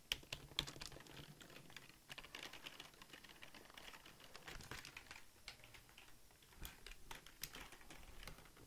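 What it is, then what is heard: Plastic computer keyboard being typed on. Fingertips and nails type rapidly on the keys of a full-size black Logitech plastic keyboard that is held up. Quick, irregular clicks and taps run throughout, bright and dry with a soft low thud beneath, and each tap dies away almost at once, with a few sharper louder strikes standing out.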